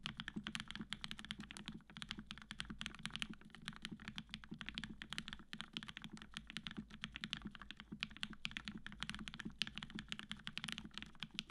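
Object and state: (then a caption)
Mechanical keyboard, steady typing. A Matrix 8X V2.0 black-cased tenkeyless mechanical keyboard, with an aluminum plate, cream PBT keycaps and 65g retooled black switches fitted with Gateron yellow springs, is typed on continuously and fast with the fingertips of both hands. Dense, quick clacks with very short decay carry bright energy centered around 3 kHz over a low thock near 200 Hz, and the sound comes across as solid.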